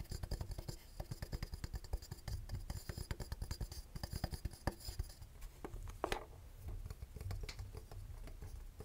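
A small, hollow vintage twin-bell alarm clock with a painted metal case, round cartoon face and two metal bells, held in one hand, is tapped and scratched on the case and face with the fingernails of the other hand. Rapid, dense, dry clicking taps with low thuddy body fill the first five seconds, with a few brighter scratches. The tapping then thins into softer scraping and sparser clicks toward the end.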